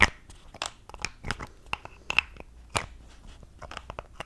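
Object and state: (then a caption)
Plastic cosmetic tube. Long acrylic nails tap and fiddle with a small mint-green plastic cosmetic tube and its pink plastic cap, held in both hands. About ten sharp, bright plastic clicks and taps ring out, with soft crinkly scratching between them. Each click is short and dry, fading almost instantly.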